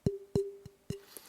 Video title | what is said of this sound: The best way to pitch-match your sticks | This is a low-pitched stick. So it's very easy to hear the difference between those pitches.